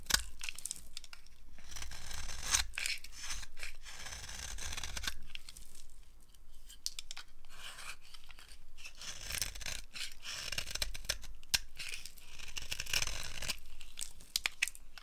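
A green-handled blade scrapes and carves shavings off a solid, dry green soap bar held in the palm. A series of crisp, bright scraping and tearing strokes sounds in bursts over a steady low rumble, each stroke short and dry with no ring.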